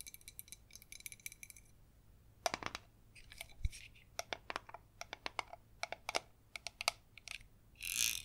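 Long red nails tap on the sides and black plastic screw lid of a clear jar filled with glitter foam strawberries. They make quick, sharp, bright clicks in irregular bursts with almost no ring, and a short airy hiss comes at the end.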